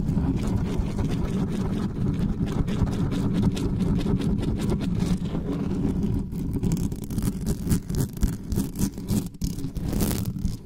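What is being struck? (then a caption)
Metal mesh microphone grille. Long nails and fingertips scratch fast and aggressively across the bare metal mesh grille of a black studio microphone. The result is a dense, steady, low, rumbling scrape for about six seconds, which then breaks into more uneven bursts with brief bright hisses toward the end.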